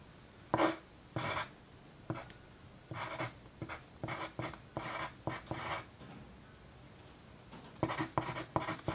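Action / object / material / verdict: scrape / wooden graphite pencil on a paper sheet / paper / none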